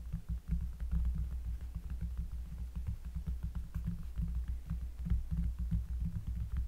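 Fingers tap rapidly and repeatedly on a cork surface in close-up, producing deep, bassy thumps with almost no ring. A steady low rumble underlies the dense, overlapping taps throughout.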